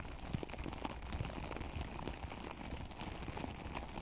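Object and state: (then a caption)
Artificial grass being scratched. Both hands with long acrylic nails scratch and rub the blades of a synthetic plastic turf cover over a microphone. The result is a continuous, dense crackling rustle with many fast, dry ticks over a low, rumbling bed, like rain patter on a surface.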